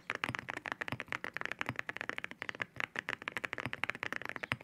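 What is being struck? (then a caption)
Mechanical keyboard with ceramic keycaps. Fingertips type steadily on a white mechanical keyboard fitted with ceramic keycaps. A quick, uneven run of sharp, bright clacks is heard, each one dry and gone almost at once, with little low-end weight.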